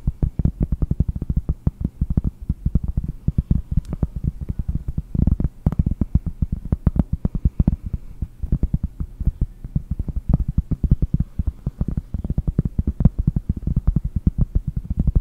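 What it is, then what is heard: Cork board. A round, flat cork board held in both hands is tapped rapidly with fingernails on its cork face. The result is a fast, steady stream of dull, low thuds with no ring, with almost all the energy in the deep low end and nothing bright.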